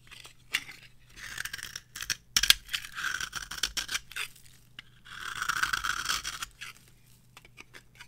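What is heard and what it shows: A metal blade scrapes and carves the surface of a solid, palm-sized, varnished orange bar of dry soap into shavings. Bright, dry scratching strokes come in short bursts, with two longer rasping scrapes around three and five to six seconds. The quiet gaps between strokes leave almost no ring.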